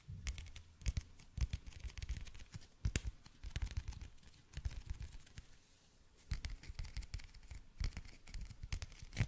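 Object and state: Clear plastic toothpick case.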